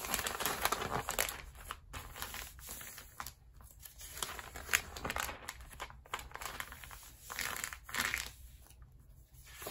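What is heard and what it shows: An open glossy paper magazine lies on a rubber mat while fingertips and palms rub and press its pages flat along the spine and turn the pages. Bright, dry crinkling and crackling paper sounds rise and fall in uneven bursts with brief quieter gaps between them.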